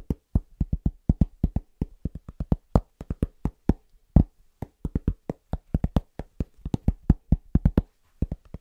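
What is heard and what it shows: A large, solid, round, flat cork trivet board, held upright, is tapped quickly with the fingertips of both hands in a fast, rhythmic pattern. Dozens of short, dull, low thuds come through, each dying away at once with no ring and almost nothing bright.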